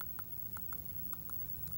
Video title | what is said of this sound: Occlusal Analysis and Examination | sounds like a good solid sound